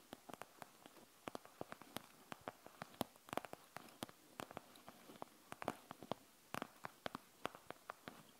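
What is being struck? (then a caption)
Plastic gel bead eye mask. Long nails scratch and tap across a panda gel bead eye mask with a plastic shell and gel beads, resting on a wooden table. Dozens of quiet, sharp clicks and scrapes sound in an irregular patter, each dying away almost instantly with a bright, crisp edge over a faint hiss.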